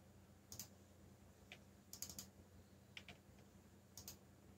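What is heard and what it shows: Fingertips tap the keys of a backlit black plastic mechanical keyboard while typing. Sharp, bright clicks come in scattered single strokes and quick pairs or triplets, each dying away almost at once over a quiet, steady low hum.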